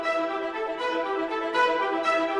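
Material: Nothing is struck.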